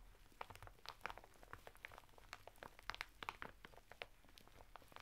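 Fingertips and nails scratch a flat bath mitt of coarse woven natural fibre through the thin printed plastic packet it is sealed in, lying sideways on a table. The result is a quiet, steady crinkling scratch broken by many short, sharp crackles and ticks that reach into the bright high range, with a faint low rumble underneath.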